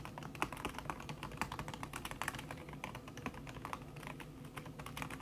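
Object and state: Keyboard with silicone key cover.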